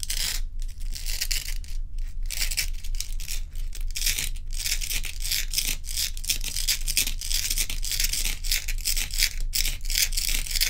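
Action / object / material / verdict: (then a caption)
scrape / large block of ice / ice / none. Long acrylic nails scratch and tap the surface of a large, bowl-shaped solid dome of clear and frosted ice resting on a dark towel. The scraping is dense, bright and crackly, broken by short quick taps, and runs almost without pause over a steady low hum.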